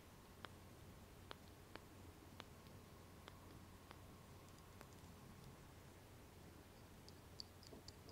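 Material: Glass.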